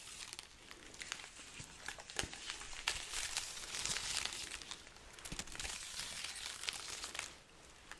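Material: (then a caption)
Dried pepper skin. A hanging garland of dry, hollow red chili peppers is rubbed with fingertips and scratched with long nails. The result is a steady, bright crinkling and crackling with many quick, irregular papery clicks. The sound swells in the middle and drops quieter near the end.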